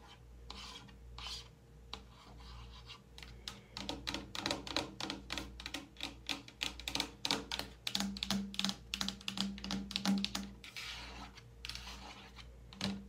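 Long painted nails scratch and tap the front label of a large white-and-pink plastic Olay body wash bottle, apparently full, standing on a metal shower caddy. Soft rubbing scratches in the first seconds give way to a quick, uneven run of light, crisp taps with short dry decays, over a faint steady low hum.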